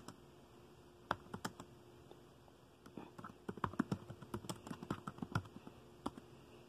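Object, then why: Plastic laptop keyboard. Fingertips of both hands type on the dark plastic keys of a laptop keyboard. Soft, dry clicks come in a few scattered taps at first, then a quicker, denser run in the middle before slowing again. Each tap stops short, with a dull low body and a brief bright tick.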